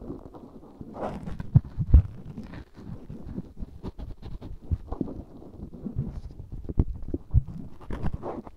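A black cotton swab held in the fingertips rubs and scratches inside the canal of a life-size white silicone ear microphone, solid and soft-rubbery. The result is a close, muffled stream of deep rumbling thuds and crackly scraping, with occasional louder bumps and faint brighter rustles over the top.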